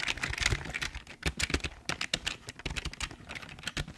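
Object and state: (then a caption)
Plastic keyboard, hollow-sounding. Fingertips type and tap on the keys of a full-size, hollow black plastic Logitech keyboard. A quick, uneven run of bright plastic clicks comes with soft, low hollow thumps beneath them. Each keystroke dies away almost at once.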